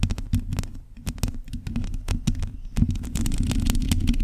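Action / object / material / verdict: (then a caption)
scrape / metal mesh microphone grille / metal mesh / none. Long nails scratch the uncovered, hollow metal mesh head of a black condenser microphone. The result is a dense run of quick, irregular scrapes and ticks over a heavy low rumble, with short bright clicks breaking through and no pauses.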